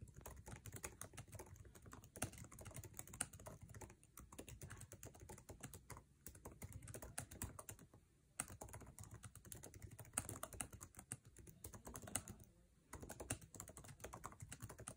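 Fingertips tap rapidly on the plastic keycaps of a MacBook Air keyboard set in an aluminum chassis while typing fast. Dense, quiet clicks with a low thud and a bright, crisp edge run continuously, broken by brief pauses around 8 and 12.5 seconds.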